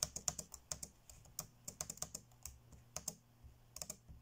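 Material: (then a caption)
Plastic. Fingertips tap fast on the dark grey plastic chiclet keys of an ASUS laptop keyboard. A quick run of about nineteen short, bright clicks with very little ring, plus a faint low hum underneath.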